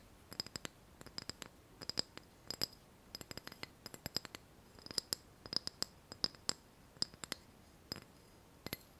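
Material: Ceramic.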